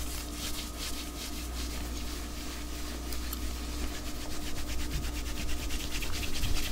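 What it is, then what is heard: Knit cotton shirt scratched with fingernails. Fingertips and nails scratch and rub along the sleeve and shoulder of a white knit cotton long-sleeve top worn over the arm and body, the soft fabric backed by the body rather than anything hollow. Quick, slightly uneven brushy strokes repeat about four times a second as a bright, airy rasp over a steady low hum. The scratching grows gradually louder toward the end.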